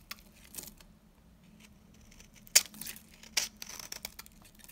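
A knife's metal blade cuts and scrapes a solid, very dry and old pale beige soap bar held in the hand, sending powdery crumbs falling. About seven crisp, bright crunching scrapes sound over a faint low hum, the sharpest coming midway. Each one stops dead with no ring.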